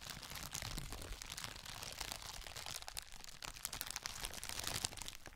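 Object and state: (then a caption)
Plastic bubble wrap being crinkled. A flat, roughly A4-size sheet of clear plastic bubble wrap is held in both hands close to the microphone and crinkled and rubbed with the fingers. The result is a dense, continuous, bright crackling and crinkling with quick, dry snaps and a soft low rumble of handling underneath, staying at a fairly steady level throughout.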